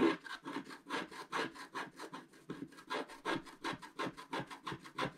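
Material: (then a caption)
Coated paper. A wooden stylus scratches the black coating near the top right of a wax-coated scratch-art paper sheet on a table, with the other hand steadying the page. About 22 quick, dry scraping strokes follow one another in a steady rhythm, each a short raspy rub with a faint midrange tone and little low end.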